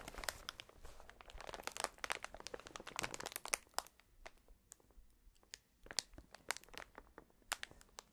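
A clear plastic air-cushion packaging strip is held against the chest and rubbed and pressed by a gloved hand's fingertips. The result is dense, bright crinkling and sharp crackling pops, busy through the first half, then thinning to sparser crisp snaps.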